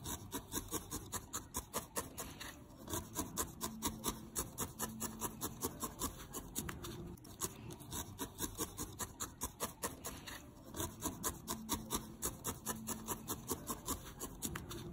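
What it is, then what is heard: Felted wool ball being needle-felted. A small, solid, grey-lilac needle-felted wool ball held in the fingertips is stabbed over and over with a thin steel felting needle. Each stab makes a short, dry rasping and rubbing crunch with bright, scratchy edges, repeating quickly in a loose, uneven rhythm across the whole clip. The sounds are soft and close, with a faint low tone underneath.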